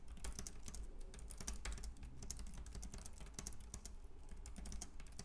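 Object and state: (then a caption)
Plastic keyboard typing. Both hands type with their fingertips on a white, compact plastic Logitech K380 keyboard with round keys. A rapid, continuous stream of light, bright key taps clicks over a steady low hum.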